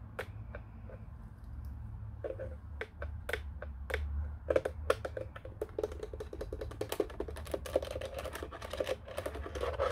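Fingertips tap the face and buttons of a black hollow plastic office telephone, producing short, dry, hollow plastic clicks with a mid-range knock. The taps start sparse and quicken into a fast, uneven patter over a steady low hum.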